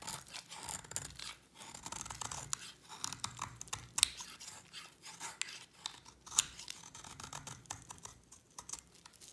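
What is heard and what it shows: A utility knife blade scrapes thin shavings off a solid white bar of dry soap held in the hand. Each irregular stroke makes a crisp, dry, bright scraping and crackling rasp, with a few sharper clicks as shavings break away.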